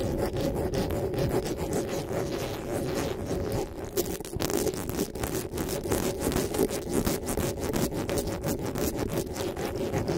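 Fingertips and nails rub and scratch the metal mesh grille on the head of a black desktop microphone. The result is a steady, dense rasping texture of rapid strokes that stays weighted toward the low mids, with brief bright scratchy edges on top.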